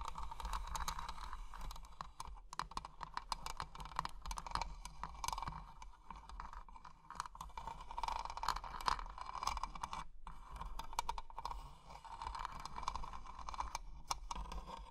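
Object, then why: Small metal-framed box with glass panels. Long painted nails tap quickly and continuously on a small closed treasure-chest jewelry box with an ornate metal frame and glass panels, filled with plastic gems. The light, dry clicks come in dense bursts over a steady low hum, with a faint ringing tone around 1 kHz. Each tap dies away almost instantly.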